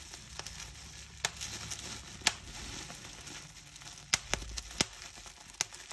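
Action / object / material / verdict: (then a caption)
tap / plastic bubble wrap / plastic / none. Clear plastic bubble wrap is pinched between thumbs and fingers, its bubbles squeezed and popped. Sharp, bright pops that die away almost instantly stand out from a steady crackling rustle of the plastic.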